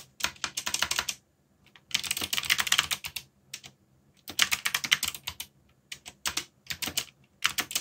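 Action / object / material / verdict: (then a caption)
tap / mechanical keyboard with plastic keycaps / plastic / none. Fingertips type densely on a backlit mechanical keyboard with black plastic keycaps. Bright, crisp clicks come in quick bursts separated by short pauses, each keystroke dying away almost instantly with very little low end.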